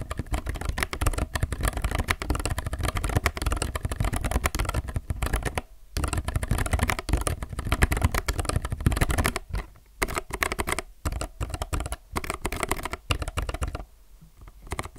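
A low-profile mechanical keyboard with white, grey and yellow plastic keycaps on a grey case is typed on with the fingertips of both hands. The result is a dense, continuous stream of short, clacky keystrokes with a strong low thump under a bright clatter. The typing pauses briefly a few times before trailing off at the end.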